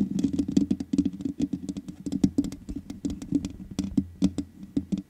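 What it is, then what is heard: Metal mesh microphone grille being tapped. Long nails tap quickly on the hollow metal mesh grille of a black microphone. It makes a rapid, uneven run of short, dry clicky taps, each with a bright tick and a hollow low thump. The taps die away almost at once.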